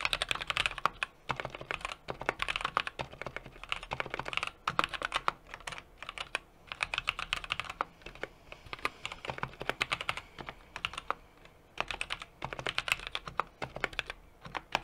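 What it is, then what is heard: Mechanical keyboard being typed on. Fingertips type continuously on a small 60% mechanical keyboard with an aluminum case, brass plate and plastic keycaps. Rapid, bright, clacky keystrokes come in dense bursts separated by brief pauses. Each click is short and dry, with almost no low-end thump.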